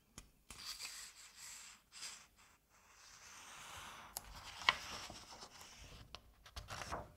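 Fingertips rub the paper page of an open Asterix comic album and turn it. Soft, bright rustles and dry swishes rise and fade across the clip, broken by a few short, crisp paper snaps, one sharper crackle partway through, and a final louder rustle as the page turns.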